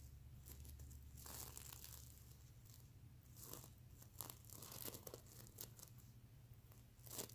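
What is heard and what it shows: Fingernails scratch across the plastic sequin scales of a soft, stuffed mermaid unicorn plush pillow. Uneven bursts of bright, crinkly, tearing rasps come and go over a steady low hum.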